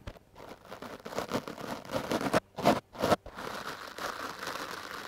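Stiff bristles of a wooden clothes brush are brushed over a foam microphone windscreen in fast, scratchy strokes. The result is a dense, crackling rustle centered in the midrange. A few louder, sharper swipes come through the middle, and the brushing settles into a steadier, softer scratching at the end.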